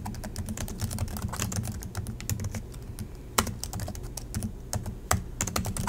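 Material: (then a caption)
Plastic. Both hands type continuously with fingertips on the low-profile plastic chiclet keys of a silver Acer laptop. A dense, steady stream of light tapping clicks rides over a low, thumpy base, with two sharper, louder clacks standing out near the middle and toward the end.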